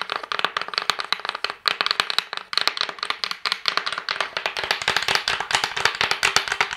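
A hollow, rectangular wooden cigar box with a Prince Charles label and its lid closed is tapped and scratched with long painted nails and fingertips; rings on the fingers may add light clinks. Quick, dense, bright clicks and taps follow one another throughout, with a dry, hollow knock centred around 1.4 kHz and almost no ring after each hit.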